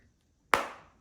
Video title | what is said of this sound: Google Pixel Fold - Honest Review | just nice solid clean smack